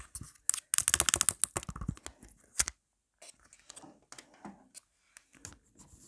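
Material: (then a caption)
Plastic. Long black nails rapidly scratch and tap the back of a marble-print plastic phone case and its pop grip while it is held in hand. A dense burst of sharp, bright clicks and rasping scratches fills the first few seconds, then quieter, sparser scratches and light taps follow after a short pause.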